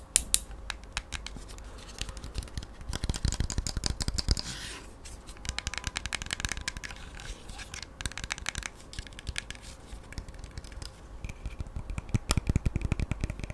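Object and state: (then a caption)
Plastic hair trimmer. Fingernails and fingertips tap and scratch the black and red plastic body of a small, solid handheld hair trimmer held in both hands close to the mic. Dense, rapid, sharp clicks and scratchy rustles come in bursts, with bright high ticks over low handling thumps. Each tap dies away almost instantly.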